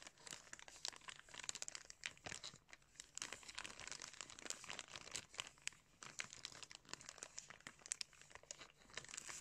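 Hands crumple and crinkle a clear plastic packaging bag holding a pair of blue sunglasses. A steady, dense stream of bright, crisp crackles and rustles fills the clip, with sharp snaps that die away almost instantly and very little low end.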